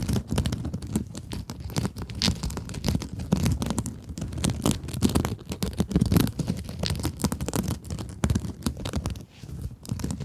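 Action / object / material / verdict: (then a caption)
scrape / plastic mesh scrub sponge / plastic mesh / none. Long acrylic nails scratch a small, soft and solid pink scrub sponge with sparkly woven mesh. The result is a dense, continuous, dry scratching and crinkling texture, weighted toward a low body with quick, faint bright crackles. Its level rises and dips steadily throughout.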